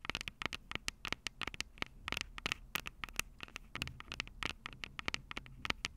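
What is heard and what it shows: Long purple acrylic nails tap and scratch the two metal-grilled microphone capsules of a Tascam DR-05 handheld recorder with a plastic body. About 35 sharp, bright clicks come in quick, uneven bursts, each dying almost instantly, over a soft scratchy rustle and a faint low rumble.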